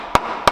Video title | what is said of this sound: Tõeline Põrsas kotis Infiniti FX35 Osa 2 | This sounds like metal! It's strong up front!